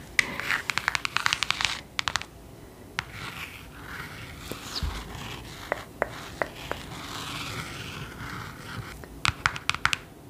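A long nail taps and scratches the embossed gold lettering on the spine of a thick green cloth hardcover book held up in front of the camera. Quick clusters of sharp, bright clicks open and close the clip, with softer, hissy scratching and a few isolated taps in between. Each tap is dry and dies away instantly, with most of the sound sitting in the upper mids and highs.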